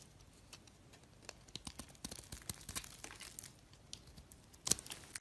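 A box-cutter blade scrapes and shaves the surface of a solid green soap bar held in the hand. Quiet, bright, crisp scratching and crackling come in a quick run of short scrapes, with the sharpest, loudest shave near the end.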